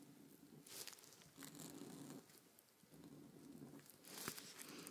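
A white paint marker tip scratches and draws across a large sheet of thin, crinkly paper printed with a blueprint, lying flat on a table while one hand holds the sheet. Quiet, dry scratching strokes come in bright bursts with faint paper crinkling underneath.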